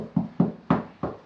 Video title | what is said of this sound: Stopped by a drip 💧 #plasterer #plasteringtrowel #plastering #plaster_work #plastering_construction | it sounds hollow, but I think that's beyond the skim, so it isn't going to move anywhere